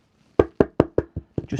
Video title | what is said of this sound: Build and Fix some Desktop and Laptops #repair #computerrepair #microsoldering #computermaintenance | Look at sound deadening on here. It's just, can you hear that? Just dead sound deadening.